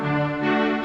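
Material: Nothing is struck.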